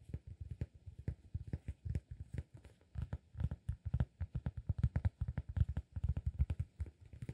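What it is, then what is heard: Cork disk. A solid round cork disk is cupped in both hands while fingertips tap and scratch its surface. A steady run of quick, soft, dull taps follows, each low and muffled, dying away almost at once with no ring. The sound is faint and heavy in the low end.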